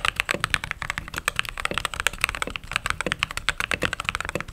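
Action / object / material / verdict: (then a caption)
tap / mechanical keyboard with plastic keycaps / plastic / none. Fingertips and long nails type steadily on a white/cream mechanical keyboard with plastic keycaps. The result is a rapid, uneven stream of short, bright clacks. Each keystroke stops almost instantly, with little low-end thump.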